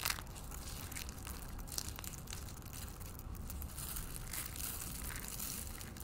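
A hand with painted fingernails scoops dry green soap shavings and flakes from a pile on a white wooden table and crushes handfuls of the solid, brittle pieces in the fist. Steady crunching and crumbling continues throughout with a low rumbling body and bright crackling bursts.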